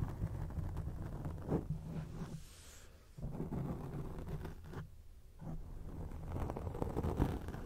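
Long acrylic nail tips scratch a grey foam microphone windscreen, making a dense, muffled rumble that is mostly low with little brightness. The scratching comes in bursts with brief quieter lulls, sounding like thunder or rustling.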